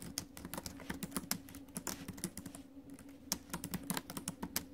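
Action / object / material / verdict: tap / laptop keyboard with plastic keys in a metal body / plastic / none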